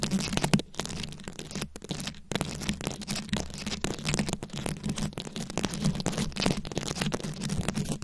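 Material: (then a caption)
Plastic rhinestones. Long pointed acrylic nails scratch rapidly across the plastic beads of a rhinestone-encrusted microphone head held in both hands. The result is a dense, continuous stream of crackly, crunchy scratching over a steady low hum, broken by a few brief near-silent gaps early on.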